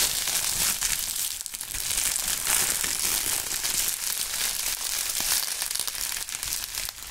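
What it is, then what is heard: Plastic bubble wrap. A loose wad of thin, flexible, clear plastic bubble wrap is held in the air and crumpled and squeezed by both hands in fingerless gloves, with the fingertips pressing the bubbles. The result is a steady, bright stream of crinkling and crackling with almost no low end, holding an even level throughout.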